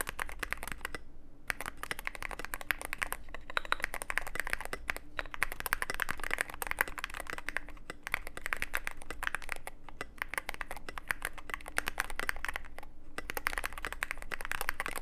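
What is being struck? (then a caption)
Mechanical keyboard, plastic keycaps, aluminum case. Fingertip typing on a Cyberboard mechanical keyboard with plastic keycaps and a black aluminum case produces a steady stream of quick, dry clacks. Each keystroke is short and bright with no ring, and there are brief pauses in the rhythm around one, five, eight and thirteen seconds. A faint low hum runs underneath throughout.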